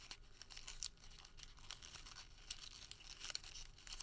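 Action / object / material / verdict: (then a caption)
scrape / thermal paper receipt / paper / none. A crumpled, printed thermal paper receipt is pulled and twisted between fingers, producing a quiet, continuous run of dry, bright crinkles and crackles. Sharper snaps stand out here and there over a low, soft rustle.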